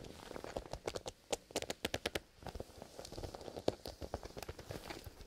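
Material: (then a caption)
Leather. A black leather zipper pencil case, held upright in both hands and soft and hollow, is scratched and tapped by fingertips in fingerless gloves. Crisp, quickly damped taps with a hollow mid tone and bright clicky tops come in irregular clusters, with a softer scratchy rustle in between.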